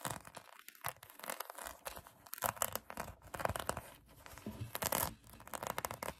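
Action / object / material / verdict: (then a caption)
scrape / foam donut squishy toy / foam / none. Long acrylic nails scratch across a pink polyurethane foam donut squishy toy. Dense, rough scratching comes in broadband bursts with a bright, crackly texture, broken by brief quiet gaps.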